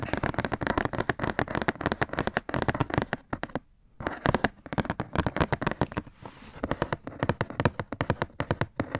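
Fingertips and nails tap and scratch the surface and edges of a hollow black Nike Air cardboard shoebox held up in the air. The result is a rapid, dense stream of short, dry, hollow taps with little ring and a low body, broken by a brief quiet pause near the middle and a stretch of softer scratching before the tapping resumes.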